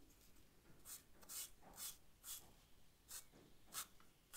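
A charcoal stick is rubbed and scratched across the paper of a sketch pad while shading. Short, bright, raspy strokes rise in bursts over a quiet, low background hiss.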